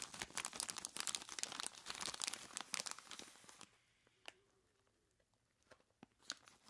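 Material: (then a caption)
Plastic, ice. Long plastic claws grip and squeeze a large clear plastic bag full of ice cubes, giving dense, bright crinkling of plastic and crunchy shifting ice for about three and a half seconds. The sound then drops to near silence, with only a few scattered clicks and crackles.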